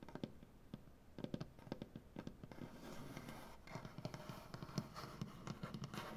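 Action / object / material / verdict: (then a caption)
tap / wooden butcher block tabletop / wood / none. Long, dark-painted nails tap on a solid, light wood butcher block tabletop. The quiet, dull knocks are short and low-pitched, with little ring. They come in uneven bursts over a soft, scratchy background texture that thickens in the second half.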